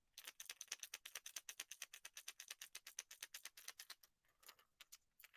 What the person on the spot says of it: get kind of a subtle thud knock on that